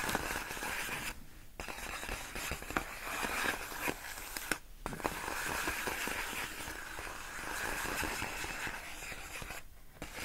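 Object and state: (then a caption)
Plastic air-column cushion wrap. Long nails lightly tap and scratch a large clear inflated plastic air-column cushion wrap, its hollow air-filled tubes resting on a rug. The result is a steady, bright, crinkly scratching with small sharp taps poking through. Brief silent pauses break it up before the scraping resumes.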